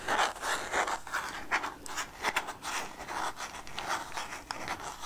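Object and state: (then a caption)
Plastic jar of peanuts, scratched and tapped. Long nails scratch and tap the red plastic lid and body of a clear plastic jar full of peanuts while the jar is turned in hand. Irregular bursts of dry, bright scratching are heard, with short clicky taps that die away almost at once, and the sound is centered in the midrange with little low end.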